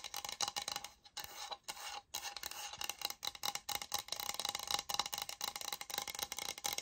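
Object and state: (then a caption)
Laminate floor sample. Long nails tap and scratch the grain surface of a light oak-grain laminate flooring sample, a solid board about 30 cm long held upright. The sound is a quiet, bright, dry mix of quick taps and raspy scratching with almost no low end and very little ring, broken by a few brief pauses.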